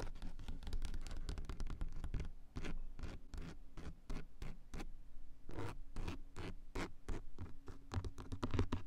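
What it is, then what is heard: Fabric-covered car sun visor, scratched and tapped. Long coffin-shaped nails scratch and tap the grey textured fabric covering of a car sun visor and its closed plastic mirror cover, picked up by a mini mic taped onto the visor. Rapid, close scratchy strokes and soft pattering taps follow one another densely, each short and dry with a deep, muffled body. A faint steady low tone runs underneath through much of the clip.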